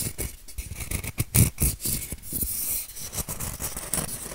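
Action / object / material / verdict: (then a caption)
scrape / hand-sized styrofoam shape / styrofoam / none. A white, solid, hand-sized styrofoam shape is scratched and rubbed with fingernails. It makes quick, irregular bursts of dry, squeaky scraping with a bright hiss and soft low thuds. The strokes come in an uneven, rapid rhythm with no ring after each one.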